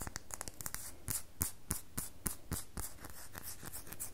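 Long fingernails scratch and carve a solid red bar of soap, leaving shavings on the table. A quick, uneven series of crisp, bright scraping strokes is heard, each short and dry with a soft low thud underneath.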